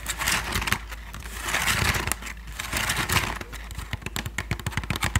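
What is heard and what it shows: A medium-sized, hollow Thai sticky rice basket of woven bamboo strips is held in both hands in front of the microphone while fingertips and long nails scratch and tap its woven surface. Dry, crackling scrapes rise and fall in swells, then give way to a quick run of crisp, sharp taps with a faint low thump.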